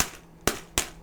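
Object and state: Poor-quality packet of dry ramen noodles.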